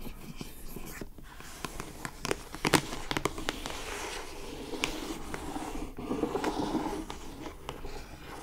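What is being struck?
Glossy-coated cardboard box.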